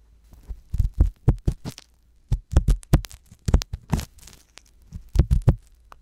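A wooden ear pick with a metal tip scratches inside the canal of the left silicone ear on a binaural microphone. The result is deep, muffled thumps and scrapes, mostly low rumble with faint bright crackle. They come in three bursts of rapid strokes separated by short quiet gaps.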